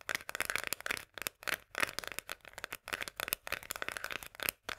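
Long nails tap quickly on the paper label and metal rim of a small, sealed, full can of Bonduelle sweet corn. The result is rapid, dry, bright clicking taps with almost no low end and no ring, coming in bursts separated by brief pauses.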